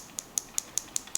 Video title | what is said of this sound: How to polish a badly-scratched watch crystal | it sounds quite light and quite hollow